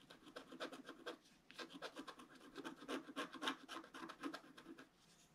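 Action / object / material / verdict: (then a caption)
scrape / coated paper scratch-art sheet scratched with a wooden stylus / coated paper / none. A wooden stylus scratches a flat, black-coated paper scratch-art card resting on a table, in steady strokes. The result is a quiet run of short, dry scratching bursts, about four a second, with a rasping mid-range body and a bright hiss on top. There is a brief lull partway through before the strokes resume.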